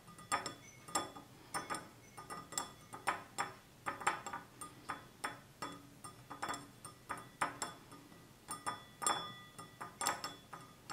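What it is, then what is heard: Glass tumbler. Fingertips and nails of both hands tap the sides of a small, hollow, empty stemless glass tumbler of clear glass with a red-tinted base standing on a table. There are around thirty quick, light clinks in an irregular rhythm, each with a bright ring near 1.2 kHz that fades almost at once.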